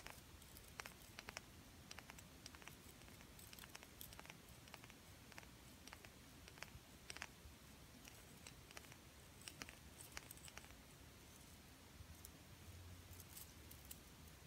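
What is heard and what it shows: Long painted nails tap and scratch a flat, solid blue glitter-coated plastic "DREAM" word ornament on a Christmas tree. The result is a quiet, steady patter of quick, dry clicks with bright, crisp edges over faint scratching and a low background rumble.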